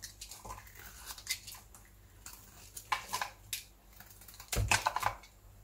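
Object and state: Dry bar soap being carved.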